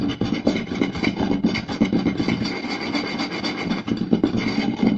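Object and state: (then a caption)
Round wooden plate. Fingertips and short nails quickly scratch, rub and tap the surface of a round, solid wooden plate. The result is a dense, fast, uneven rasping scratch with rapid dry taps layered in, a woody body in the low mids and bright scratchy hiss above.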